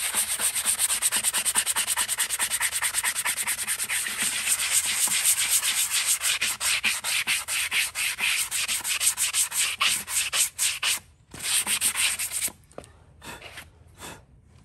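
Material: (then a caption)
Keratin. A small handheld sanding block rubs quickly over the solid keratin wall of a horse hoof resting on a metal stand. The rapid strokes make a bright, raspy scratching. The strokes grow more spaced out, pause briefly near 11 seconds, and fade to a few quieter, softer passes at the end.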